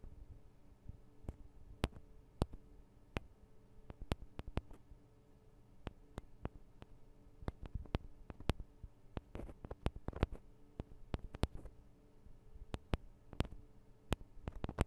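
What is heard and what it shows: Long acrylic nails tap on the sides of two small cylindrical metal microphone capsules on a Tascam DR-40 recorder. The result is a quiet, irregular run of sharp, very short clicks with bright tops, over a steady low hum. The taps come in loose clusters with brief pauses between them.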